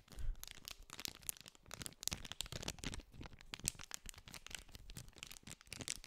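Fingertips scratch and crinkle the clear cellophane wrapper on a small green cardboard candy pack held close to the microphone. A dense, continuous run of sharp, bright crackles and rustles is heard, with soft low thumps from handling the pack.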